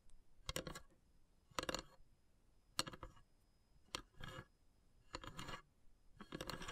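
Long grey nails tap and scratch the carved, perforated lid of a long, narrow, hollow wooden incense box. The sound comes in short bursts of quick, dry clicks and bright scratchy rasps, separated by near silence. Each burst is sharp and fades almost at once, with a faint high, steady tone underneath.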